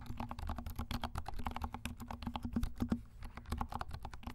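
Fast typing with the fingertips of both hands on a compact black plastic mechanical keyboard with silent switches and black and pink plastic keycaps. It makes a quick, steady clatter of soft, muffled key thuds that are heavy in the low end and short, with almost no ring.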